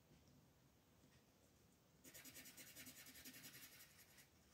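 A pink wooden colored pencil shades a flat white paper coloring page on a table with short, repeated strokes. After about two seconds of quiet, faint hiss, a fast, steady rhythm of bright, dry scratching begins, each stroke a soft rasp, and it fades slightly near the end.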